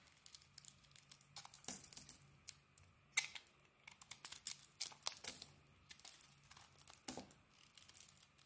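A palm-sized, solid mint-green bar of soap with a translucent yellowish core is held in the hand and carved and scraped with a metal blade. Quiet, bright, crisp scrapes and crackly shaving sounds come in irregular short bursts, each dying away almost at once, with almost no low end.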